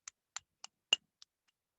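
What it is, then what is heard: Vitrified fired clay test bar. A vitrified fired clay test bar is flicked or tapped five times, giving short, bright, high-pitched ticks around 2.8 kHz that die away almost instantly. The fourth tap is the loudest. The high pitch shows the clay is vitrified, unlike a dull, porous bar.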